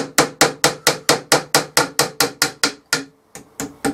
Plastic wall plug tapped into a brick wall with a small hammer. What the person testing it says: Just tap them through. There's that changing sound.